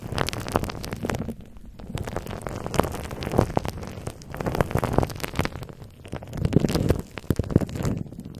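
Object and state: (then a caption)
Bubble wrap crinkled over a microphone. A microphone head wrapped in clear plastic bubble wrap is held in one hand while the fingertips of the other hand tap and scratch the crinkly wrap over the hollow mesh grille. Dense, close, low-heavy crackling and rustling is heard, with many short taps and brief quieter gaps.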